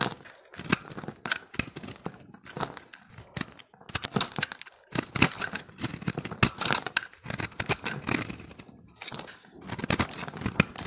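A steel box-cutter blade repeatedly scrapes and carves flakes from a solid, hand-held recycled soap ball of multicolored pressed dry soap. Dense, crisp scraping and crackling bursts come in quick runs separated by brief pauses, bright and dry with almost no ring.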